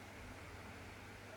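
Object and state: Nothing is struck.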